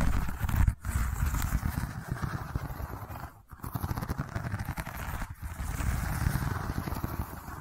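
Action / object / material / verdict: scrape / woven seagrass tube / seagrass / none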